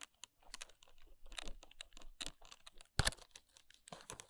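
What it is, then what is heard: Paperboard box tapped and scratched with nails. Long acrylic nails and fingertips tap and scratch the front and sides of a small, empty-looking Kiss press-on nails retail box made of paperboard with a plastic window, which sounds hollow. A quick, irregular run of dry clicks and scratchy brushes, each dying away almost instantly, comes over a faint low hum. The sharpest, loudest taps land about three seconds in.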